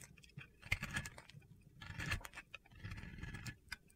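A metal blade scrapes gritty shavings from a solid white Oscar de la Renta bar soap held in red-nailed fingers. Short bursts of crunchy, gritty scraping come in uneven clusters, with bright crackly detail over a soft low rasp and quiet gaps between strokes.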